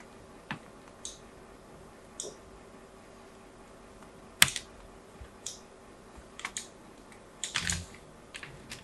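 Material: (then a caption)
Soap. A small blade cuts more lines into a solid white bar of soap held in the hand, its surface already covered in diagonal grooves. About a dozen quiet, crisp, bright scraping clicks come at irregular intervals, with one sharper, louder snap near the middle. Each cut dies away almost instantly over a faint background hiss.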